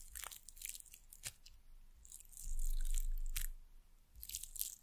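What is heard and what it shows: Long nails tap and scratch a small, solid, painted carved wooden bird figure sitting on top of a wooden pencil. Crisp, bright clicks and scratchy, crunchy strokes come at an irregular pace, with a soft low rumble swelling underneath in the middle.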